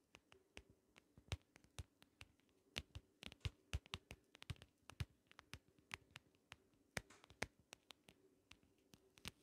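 Long nails lightly tap and scratch the ridged lid of a small, closed, hollow, shell-shaped compact case covered in holographic vinyl. About forty quick, dry clicks stop almost instantly and flash bright across the spectrum. Soft scratching and a faint low hum fill the gaps between them.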